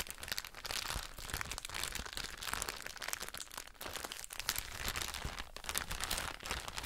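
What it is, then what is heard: Plastic bag of cotton pads being crinkled. A soft plastic drawstring bag full of cotton wool pads is crinkled and scratched with long nails. The result is a dense, continuous crackling crinkle, bright and hissy, with fine scratchy ticks that rise and fall slightly in loudness throughout.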